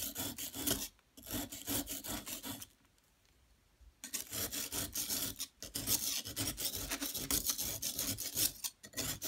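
A flat metal spatula or chisel scrapes across a solid yellow plaster excavation block, making dense, rasping, bright strokes in quick succession. The scraping stops for about a second of near silence, then resumes just as busy and gritty until the end.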